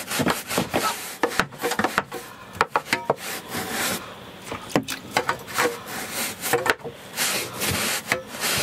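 A hand-held bristle brush is scrubbed along a beige woven carpet runner lying on the floor, a large flat textile surface, in repeated strokes. Each stroke gives a scratchy, bright rubbing hiss with sharp short bursts and almost no low end.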